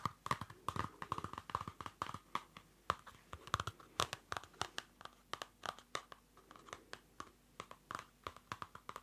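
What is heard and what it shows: A small Field Notes pocket notebook with a dark card cover over paper is held in the hand while fingernails scratch and fingers handle the cover. A quick, irregular series of short, dry scratches, taps and light crinkles is heard, with a faint tone near 1.2 kHz. The sounds are quiet and stop at once with no ring.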